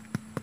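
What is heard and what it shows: A wrapped cempedak fruit hanging on the tree is patted twice by hand, giving two short, dull, low thuds that die away almost at once over a faint steady hum. This sound marks the fruit as ripe.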